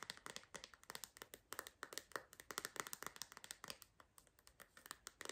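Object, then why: Hard plastic phone case. Long green nails tap and scratch an empty clear hard-plastic phone case with a purple bumper and a MagSafe ring. A rapid, uneven series of sharp, bright clicks with very short decay is heard over faint scratching, with almost no low end.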